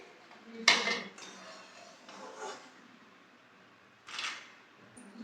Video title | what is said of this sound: सूजी कुरकुरीत/ Semolina recipe, Crispy snacks recipe, #mahektikhusbokirasoi | You can hear how crispy it has become.